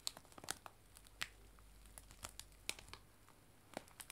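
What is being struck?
Cellophane bag of dried tea.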